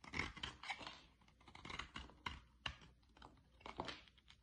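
A utility-knife blade shaves curls off the end of a solid green oval bar of soap. Repeated short, crisp scraping and cutting strokes come through as bright, dry rasps with little ring.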